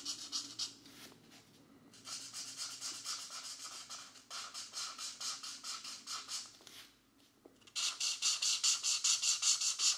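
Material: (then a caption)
Paper. A felt-tip marker makes repeated short rubbing strokes on the thin paper page of an open paperback coloring book, which stays in place throughout. About twenty bright, scratchy strokes come in a steady back-and-forth rhythm, grouped into bursts with brief quiet pauses. The final burst is louder and sharper.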